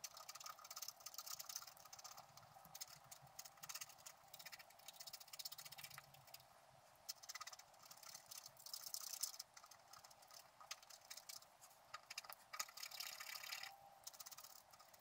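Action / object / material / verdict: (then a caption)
scrape / wax-coated scratch art card scraped with a wooden stylus / wax, card / none. A wooden stylus scrapes the black wax coating of a flat scratch-art card, working over the squirrel's tail while a hand holds the card flat. Quiet, bright, dry scratching comes in dense bursts of short strokes with brief pauses between them.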